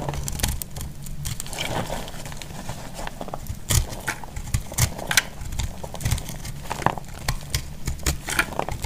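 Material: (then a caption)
Soap. A metal blade cuts a solid, dry heart-shaped soap into crumbly chunks, making a steady run of dry crackling and crunching. Sharp bright clicks and low thumps break through it as pieces snap off.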